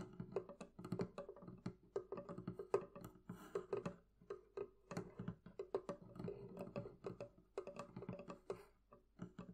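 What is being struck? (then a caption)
Wooden barrel chest. Continued tapping on the wooden surface of a barrel chest gives a quick, uneven run of short, dry knocks. Each knock has a hollow woody tone around 400 Hz that dies away almost at once, with a soft low body beneath it.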